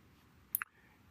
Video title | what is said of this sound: Join us LIVE with Dr Jiro Abe & Dr Yamazaki Fumiaki on 22nd Sunday 11AM IST | you can hear tapping sound one after the other. So because her mandibular jaw didn't become stable